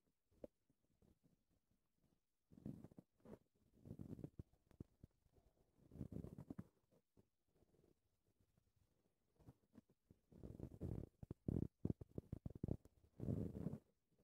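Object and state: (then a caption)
Foam microphone windscreen being scratched. Long red-painted nails and fingertips scratch, rub and cup a soft, porous black foam windscreen covering a handheld recorder's microphone. The result is muffled, deep rumbling bursts and scratchy crackles, with quiet gaps between them and almost no brightness.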